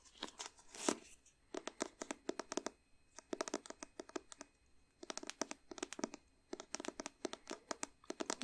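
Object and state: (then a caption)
Faux leather covered hardback book. Long painted nails tap and scratch the cover of a small, solid, blue padded faux leather hardback memory book. Quick, dry, crisp clicks with a bright scratchy edge come in rapid clustered bursts separated by short pauses. Each one stops almost instantly, with a slight thin tone near 300 Hz.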